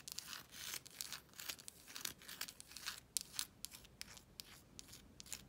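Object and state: Embossed paper wallpaper.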